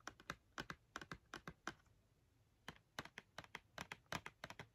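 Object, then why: Filled cardboard marker box. Long nails tap quickly on the printed front panel of a filled cardboard marker box held in hand, making about 22 sharp, dry, clicky taps. The taps come in a quick run, pause briefly for under a second, then resume in another fast burst. Each tap stops almost instantly with no ring.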